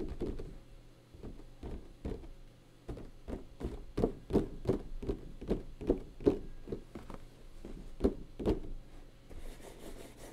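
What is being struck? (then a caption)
Cardboard box with clear plastic window. A boxed anime figure in retail packaging, a hollow box with a clear plastic window over a cardboard base with a printed logo and the figure inside, stands upright on a desk. Its plastic sides are tapped and knocked with the fingertips of both hands in an irregular run of about 20 quick strikes. Each gives a short, dull, hollow thunk centred around 400 Hz that dies away almost at once.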